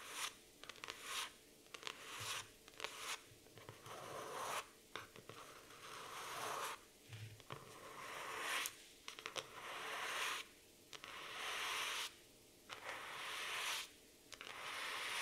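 Long nails scratch the laminated cardboard cover of a black floral hardcover notebook. Bright, raspy scratching strokes come in bursts of varying length, separated by brief quiet gaps.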